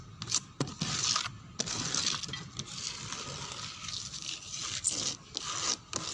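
Long nails scratch and pick at a dark brown wooden door with a small damaged spot. The result is a run of dry, bright scraping and rasping strokes separated by brief pauses.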